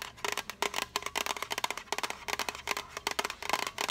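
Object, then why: Small metal tin box. Long acrylic nails tap rapidly on a small, hollow, rectangular blue printed metal tea tin. The taps are quick, bright clicks with a faint metallic ping near 1 kHz that dies away almost at once, landing in uneven bursts.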